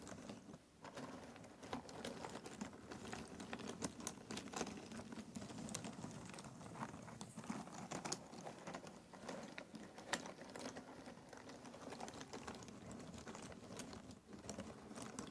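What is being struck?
Cardboard jigsaw puzzle pieces in a box.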